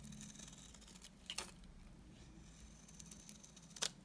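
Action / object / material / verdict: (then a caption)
scrape / tar soap bar cut with a knife blade / soap / none. A solid, dry, dark brown tar soap bar is held up and then shaved with a utility knife blade. Soft, crisp scraping sounds sit over a low steady hum. Two sharper, bright shaving strokes stand out near the middle and at the end.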